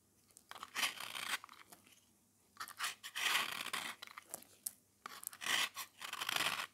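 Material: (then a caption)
Soap. A small, round, solid beige dry soap disc painted silver and red is held in the fingers while a metal blade scrapes and shaves its face. The sound is dry, bright crunching and scraping in three main bursts, with small crackling ticks and quiet pauses in between.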